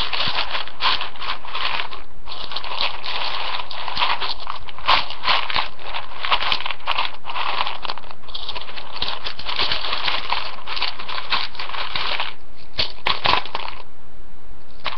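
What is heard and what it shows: A hand with nails digs into, stirs and drops uncooked rotini pasta in a large floral ceramic bowl. Dense, dry, ratchet-like clicking and rattling runs almost continuously, with brief quieter gaps. The sound is bright and crackly and centred in the upper mids.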